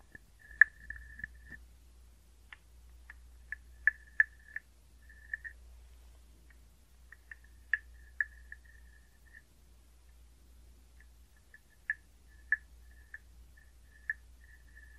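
A hollow carved wooden frog guiro, held close, is scraped along its ridged back with a wooden stick. About fourteen short, irregular raspy buzzes ring out with a tone near 1.7 kHz. They sit over a faint low hum in quiet surroundings.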